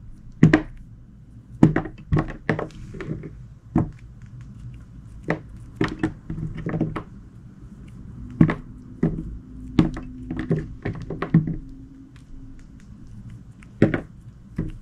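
A solid, palm-sized piece of white glycerin soap is held between the fingers and repeatedly sliced with a utility knife blade. Each cut lands as a short, soft, low thunk with a brief crisp click on top, at an irregular pace. A faint steady low hum runs underneath.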